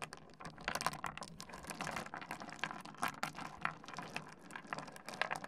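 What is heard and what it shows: Fingertips slide and push a spread of small solid stone pebbles across a wooden desk, making a steady run of quick, dry clicks. The bright little taps overlap in uneven bursts with a faint rustle between them for the whole clip.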